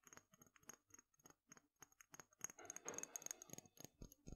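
A small dark glass dropper bottle with a green label and black dropper cap, held in one hand, is tapped and scratched with fingernails along its glass body and turned in the hand. Quiet, rapid, irregular clicky taps with a bright glassy tick are heard, with a continuous scratchy rubbing stretch in the middle. Each tap dies away almost instantly.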